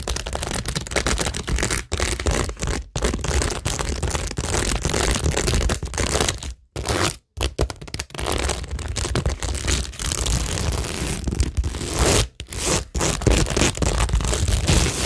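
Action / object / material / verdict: scrape / cork board covered in acrylic rhinestones and faux pearls / acrylic rhinestones / none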